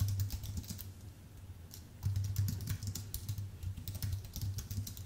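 Fingertips type continuously on a full-size white Apple Magic Keyboard with an aluminium base and plastic keys. The result is a steady stream of soft, dull key thumps with a low body under light, bright clicks, easing off briefly in the middle before picking up again.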